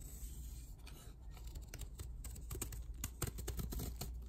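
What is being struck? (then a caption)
Magnesium gym chalk block. A palm-sized square block of soft, powdery white magnesium gym chalk, held in a chalk-covered hand, is first crumbled between the fingers, then shaved and scraped along its surface and edge with a metal snap-off utility knife blade, shedding powder. Quiet, dry crumbling gives way to irregular, bright scratchy scrapes and crisp rasping strokes that grow slightly louder toward the end, over a steady low hum.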